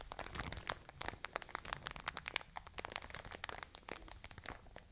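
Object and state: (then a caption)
Plastic bag of cotton wool. A full plastic bag of cotton wool is squeezed and scratched with long nails, making a dense run of crisp crinkling and sharp, bright crackles over a soft muffled rustle. The quick clicks keep overlapping, each dying away almost at once, so the texture stays busy and brittle the whole time.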